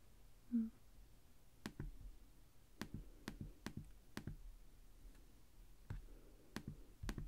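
Fingertips type steadily on the plastic chiclet keys of a black laptop keyboard, making sharp, dry clicks that come in uneven bursts, often as quick double taps. Each click has a soft low thump under a bright, brief snap that dies away almost at once. Near the start there is a short, faint low tone, and quiet background noise runs between the key presses.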